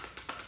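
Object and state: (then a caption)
Small box with a toy inside. A small closed box with a toy dog figure inside is shaken to check whether anything is in it. Three light, bright rattling knocks are heard as the toy shifts against the box, confirming something is inside.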